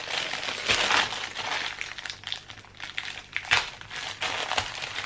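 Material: Plastic.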